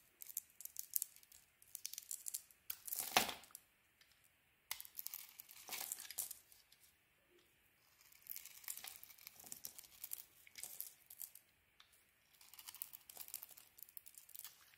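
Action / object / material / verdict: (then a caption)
scrape / soap bar scraped with a metal knife / soap / none. A solid, purple tiger-striped Cleopatra soap bar with a cream interior, held in the hand, is scraped with a metal knife. Dry, crackly scraping comes in bursts separated by brief quiet pauses, with one louder, sharper stroke early on. The sound is thin and bright with almost no low end.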